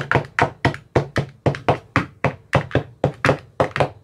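An empty translucent frosted plastic ice cube tray with 15 hollow compartments and teal bottoms is tapped inside its cells with a thin metal rod with a white rounded tip, the hand held close over the tray. The result is a steady series of short, hollow plastic thunks and taps, each with a low body, a bright click on top, and almost no ring.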